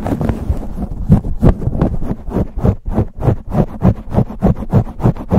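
Fingers rapidly grip, rub and scratch a black foam cover on a silver USB microphone. The result is a fast, uneven run of muffled, scratchy bursts, about three per second, dominated by deep thumping rumble with brief bright rustles on top.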